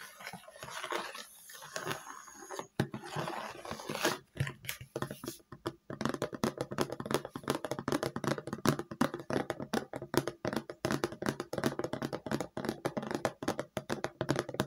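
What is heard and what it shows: Fingertips and nails tap on a large, round, hollow red plastic lid. Soft, scratchy rustling gives way after a few seconds to quick, dense, uneven tapping. Each tap is dull and hollow with almost no ring.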